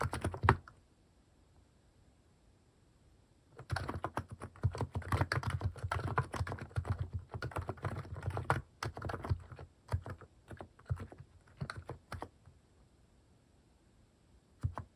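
Fingertips type on a compact mechanical keyboard fitted with cat-shaped plastic keycaps, producing short, low, muted clacks. After a couple of keystrokes and a pause, a dense burst of rapid typing runs from about 4 to 9 seconds, then thins into scattered presses. It ends with a few final taps near the end.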